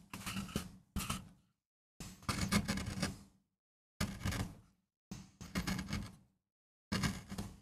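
A wooden-handled steel gouge scrapes grooves into a small, flat, solid MDF relief block carved with a rose for a relief print, while a hand braces the board. Short, rough, scratchy carving strokes come in bursts separated by brief silences, with a dry low body and a bright, hissy edge.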